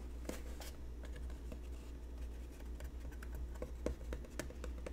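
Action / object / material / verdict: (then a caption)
tap / cardboard box / cardboard / none. A hollow white cardboard or papier-mâché box with a lid, held in both hands, is tapped and lightly scratched with fingertips and short nails on its curved side wall. Soft, dry taps and brief scratches come at an uneven pace over a steady low hum. Each tap dies away almost at once.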